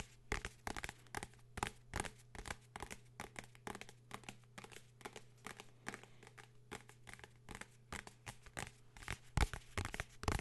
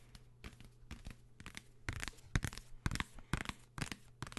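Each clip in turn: First: hardcover book, tapped and scratched. Second: paperback guide book tapped, papery cover sound.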